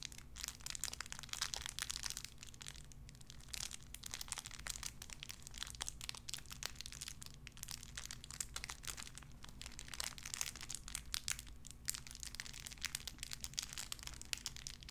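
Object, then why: Small clear plastic bag. A small clear plastic bag wrapped around a tiny white figurine is crinkled and squeezed between fingertips with long red nails. Dense, bright crackling and crinkling runs nearly continuously over a steady low hum.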